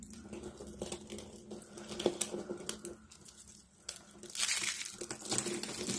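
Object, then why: Rolled soap sheets and flakes. Rolled strips and a pile of flakes of dry pink soap sheets are squeezed and crushed in both hands with long dark-blue nails. This makes a dense run of crisp, bright crunching and crinkling with sharp little cracks. It fades briefly in the middle, then swells into a louder, hissy crumble toward the end over a faint steady low tone.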